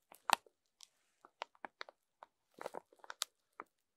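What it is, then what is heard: Plastic-wrapped foam sponges. A row of rainbow foam sponges wrapped in thin clear plastic film lies on a table while a wooden stick and then fingertips scrape and rub along the film. Short, dry crinkles and crackles come in quick uneven bursts, centered in the midrange with bright edges. Each burst stops almost instantly, with no ring.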